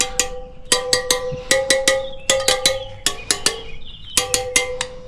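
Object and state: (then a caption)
Well-tensioned wheel spoke. A wrench taps the steel spokes of a Suzuki RM motocross front wheel one after another, working around the rim from the twelve o'clock position. Eighteen short, bright metallic pings come in uneven clusters, each with a clear tone around 500 Hz and 2 kHz that dies away quickly. The spoke rings clearly, which marks it as properly tensioned.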